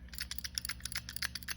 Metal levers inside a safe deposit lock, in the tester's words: that's them shaking around there